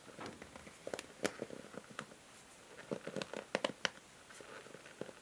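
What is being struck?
Plastic paddle hair brush.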